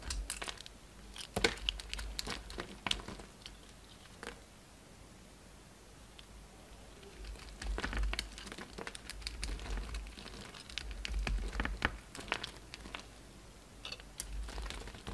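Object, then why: Bar of soap scraped with a knife. A utility knife scrapes and carves flakes off a solid pink and white soap bar held in the hand. Dense, crisp crinkling and crunchy scraping comes in bursts, with a quieter stretch in the middle before the carving picks up again.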